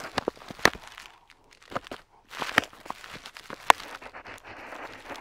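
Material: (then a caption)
Paper. A metal dip pen nib scratches across a flat paper map sheet while tracing a coastline. Dry, bright scratching strokes come in irregular bursts with sharp clicks and brief silent pauses between them.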